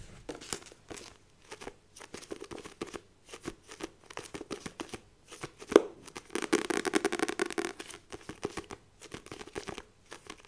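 Long nails tap and scratch the glossy laminated front cover of a *Rich Dad Poor Dad* paperback with a solid page block, held in both hands. Quick, dry clicking taps and brushing scratches follow one another rapidly, with a dense burst of fast scratching in the middle. The sound is close, crisp and short-lived, with almost no low end.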